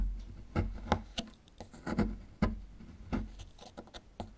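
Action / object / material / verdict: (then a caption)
scrape / small plaster block / plaster / none. A small metal chisel tool scrapes at a small, solid plaster fossil excavation block, breaking plaster chunks off. The sound is a series of short, dry scrapes and crumbly knocks, each dying away almost at once, with soft gritty rasping between them and a dull, low-heavy tone.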